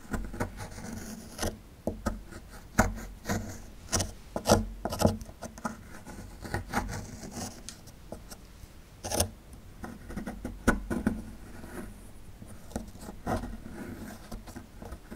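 A small, solid plaster fossil excavation block, held in one hand, is scraped with a small metal chisel tool. Dry, gritty scrapes and short, sharp clicks come in uneven bursts over a faint background. Powdery plaster loosens and crumbles away.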